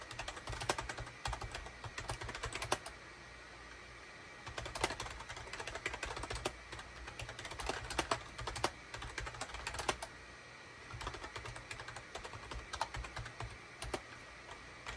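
Both hands' fingertips type in rapid bursts on a gray SHIPADOO K600 full-size wired USB keyboard, with a hollow gray plastic case and cream, gray and orange plastic keycaps, resting on a desk mat. Quick, bright plastic clicks and clacks come in dense runs, with short pauses between bursts and a steady low hum underneath.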